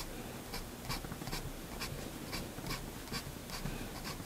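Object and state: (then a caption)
Pen nib scratching on paper. The steel extra-fine nib of a Faber-Castell Hexo fountain pen, held in the fingers, draws across a flat sheet of white drawing paper lying on a desk. Quiet, scratchy strokes come in short bright bursts at an uneven pace over a low, steady background rumble.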